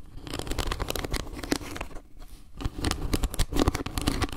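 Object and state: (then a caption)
Wooden trivet, scratched and tapped. Long nails scratch and tap a round, solid wooden log-slice trivet with leaf carvings as it is tilted in the hands. Dense, crackly scraping mixes with short, dry taps over a low rumble, with a brief quieter lull midway before the tapping picks back up.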